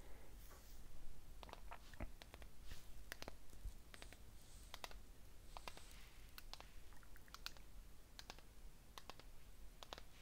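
Fingernails tap the wall of a small patterned ceramic candle cup filled with unlit white wax, held in one hand. Quick, light, irregular clicks sound over a steady low hum.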